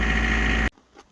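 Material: Nothing is struck.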